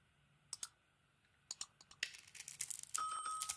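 A small solid bar of soap with a pink glitter coating, held in one hand, is shaved and scraped with a metal utility blade, peeling off flakes to expose white soap underneath. A few separate sharp, bright scrapes come first, then a dense, crackling run of rapid shaving that grows louder and busier toward the end.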